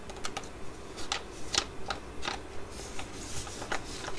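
A full, flat laminated foil sheet-mask sachet for Korean skin care is held, crinkled, and tapped with long nails. Sharp, bright clicks and crisp crinkles come in an uneven rhythm over a soft, steady rustle.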